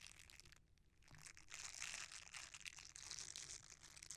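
A red silicone bristle scrubber is rolled and bent while fingertips rub across its bristle surface. The result is a soft, bright, crinkly rustling with irregular crunchy scratches, mostly in the high range with little low end, rising in the middle and continuing to the end.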